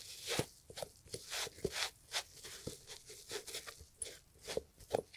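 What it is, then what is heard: Leather loafer being scrubbed. A gloved hand scrubs the upper of a brown leather loafer with cream textile panels, hollow with a shoe tree inside, using a green and yellow sponge. A series of short, dry, bright scratchy rubs and crinkly scrapes repeat in quick strokes, with faint low knocks under some of them and no ringing afterward.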